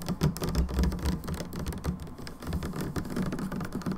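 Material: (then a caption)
Plastic. Long nails of both hands tap rapidly and irregularly on the narrow side of a plastic hand wash bottle. The result is a steady patter of dull, hollow, low thuds with short clicky ticks that die away almost at once.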